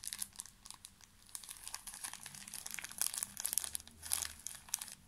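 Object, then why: Thin plastic film wrapper of a pocket tissue pack. A small, full pocket tissue pack wrapped in thin plastic film is squeezed and crinkled with the fingertips, producing dense, quiet, bright crackling with sharp snaps. The crinkling grows louder and busier in bursts toward the end.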